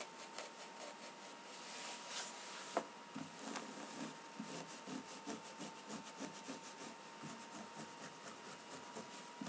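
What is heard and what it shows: Dark denim jeans of cotton fabric are first handled and folded, then laid flat on a table and scratched with long pink-painted fingernails of both hands. A soft rustle and one sharp tap give way to a steady run of quick, dry scratching strokes with a bright, rasping texture.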